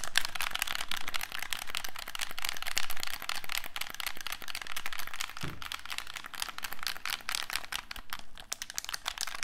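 A black, hollow plastic handheld game controller is held in both hands while its buttons and sticks are pressed and clicked with fingertips and thumbs. Dense, irregular plastic clicks and tapping patter on steadily, with a brief low thump about halfway through.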